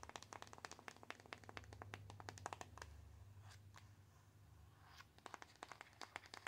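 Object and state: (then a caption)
Cardboard box tapped with nails. A small, plain, closed white cardboard box, hollow with its contents unseen, is held up and tapped with long acrylic nails. The result is rapid bursts of sharp, dry, bright clicking taps with almost no ring, over a steady low hum. The taps thin out to a few scattered clicks in the middle before picking up again.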